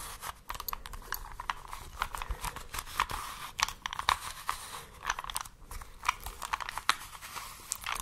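A small plastic 3x3 Rubik's cube, held in both hands, is tapped with fingertips and long nails, scratched, and twisted layer by layer. The result is a dense run of sharp plastic clicks and crunchy ratcheting snaps, with a bright clatter centered around 1 kHz, all over a soft, close background.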